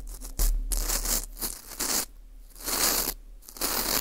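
A teal rubber-tipped earpick scrapes around the hole and rim of a small, hollow ring of dry, porous baked wheat gluten (fu) held in a gloved hand. It makes dry, papery scratching and rubbing strokes that swell and fade in uneven bursts, bright and crackly on top with a low, dull rumble underneath.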